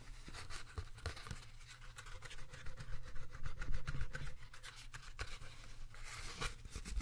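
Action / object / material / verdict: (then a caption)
tap / clear plastic food container / plastic / none. Fingertips and nails tap and scratch a small, square, translucent plastic food container with a lid, held up in the hands, hollow and apparently empty. The taps and scratches come in a quick, uneven patter of short, dry clicks over a soft, low, hollow thump, with brief bright ticks that die away almost at once.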